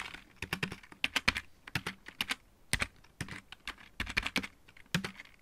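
Fingertips type on the main keys of a full-size backlit plastic mechanical keyboard, then one hand moves to the right-side keys. The result is a rapid run of about two dozen short, dry clicks that stop almost instantly, bright and clacky with a faint low thump beneath each press.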